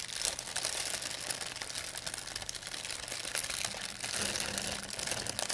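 A thin, empty white plastic pharmacy bag is crumpled between fingers with long painted nails. It makes a steady, dense crinkling and crackling that is mostly bright and high, with little low end and short, quick-fading rustles throughout.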